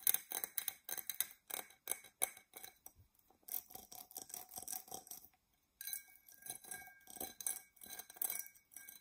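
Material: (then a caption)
Glass. Long nails scratch and tap an empty, hollow dark purple embossed glass tumbler, making dense bursts of bright, high clicks and scrapes with almost no low end. A faint glassy ring sits under the strokes, and after a brief pause the later taps bring out steadier high tones.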